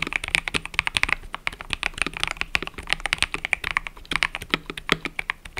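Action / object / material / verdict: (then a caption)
tap / mechanical keyboard with plastic keycaps / plastic / none. Fingertips type continuously on a mechanical keyboard with cream and purple plastic keycaps. A steady run of short, sharp clicks and clacks, bright and crisp with little low end, each one stopping almost instantly.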